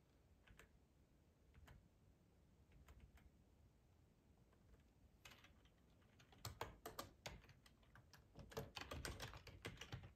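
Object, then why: Plastic computer keyboard. Fingertips of both hands type on a black plastic ergonomic split computer keyboard with a hollow housing, lying on a tablecloth. Sparse, soft key taps give way after about five seconds to quicker, louder typing. Each tap is a short, bright click over a low, hollow thud.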